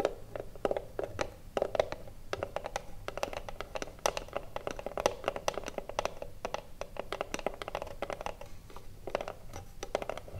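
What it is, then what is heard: Wooden cigarillo box. Long blue nails rapidly tap and scratch the front face of a small hollow wooden cigarillo box gripped on both sides. Quick, dry clicks with a hollow midrange knock around 600 Hz stop almost instantly, and soft bright scratching fills the gaps between them.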